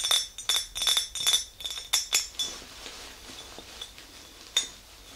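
Long green nails tap the sides of an empty clear glass mason jar with a handle, its lid off and set aside. A quick, uneven run of bright, high glassy clinks fills the first two and a half seconds, each dying away almost at once. A quiet stretch follows, broken by one last sharp tap near the end.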